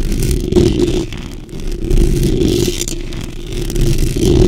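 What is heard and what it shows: Long pink nails and fingertips scratch and tap the top and sides of the hollow metal mesh grille on a black microphone. The result is a dense, low-heavy rasping and rustling with a steady humming tone near 350 Hz. Quick taps are scattered through it, and the texture swells and fades in waves throughout.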